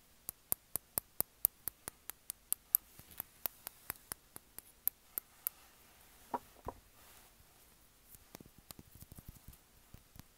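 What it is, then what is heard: Glass perfume bottle. A small dark glass perfume bottle with a black cap is held in the hand while fingertips and nails tap and scratch its glass body. A steady run of sharp, bright clicking taps comes first, then a couple of brief scraping sounds. It ends with a quicker, softer flurry of taps.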